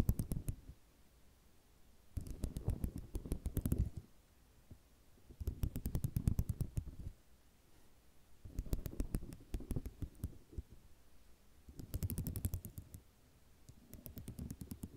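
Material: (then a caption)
Ceramic. Long fingernails on both hands tap rapidly across a flat sheet of small white square ceramic mosaic tiles resting on cloth. The tapping comes in short bursts of quick, dry clicks over a soft, low, muffled thud, separated by brief quiet pauses.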